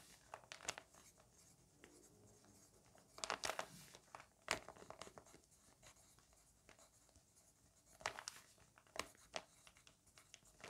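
A graphite pencil tip scratches across an open lined paper notebook page lying flat on a fabric surface, writing words in a list while the other hand holds the page. Soft, bright scratchy strokes come in short bursts, with sharper clusters of pencil taps and scrapes standing out at intervals over a quiet background.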